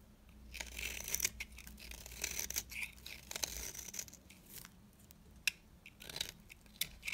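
A metal blade scrapes curls off the surface of a small, solid, dry orange bar of soap held in the hand. The result is a run of crisp, bright scraping strokes with soft crackly shaving sounds, separated by brief pauses and a few sharp clicks, over a faint low hum.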